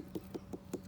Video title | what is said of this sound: #seedlings #gardening #ihavethisthingwithplants #growyourownfood #plantingseeds #harvesting | it gives us that nice hollow sound and that tells us that everything is nice and it's grown to its capacity